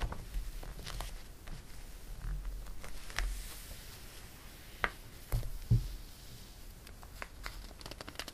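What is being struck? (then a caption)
Thin glossy paper magazine. Fingertips and a palm rub and smooth the pages of an open thin glossy paper catalog on a table, then turn a page. Quiet, steady papery swishing sits over a low rumble, broken by a few sharper crinkles and snaps in the second half as the page is lifted and turned.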